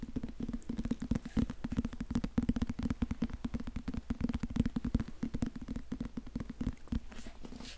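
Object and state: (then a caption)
Cloth-bound hardcover book. A small, solid teal and purple cloth-covered hardcover book is held in one hand and quickly tapped and scratched with fingertips and nails. The result is a rapid, steady patter of dull, low thuds with very short decay, mixed with a faint scratchy rustle of nails on the cloth.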